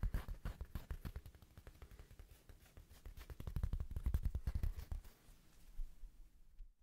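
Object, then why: Small woven fabric coaster. Fingertips quickly tap and scratch a small, thin, solid square woven rug-style coaster with a red patterned fabric face, held in the hands. Rapid, uneven, dull low thuds are heard, with bursts of soft scratchy texture between them. The taps grow denser and louder midway, then thin out and fade at the end.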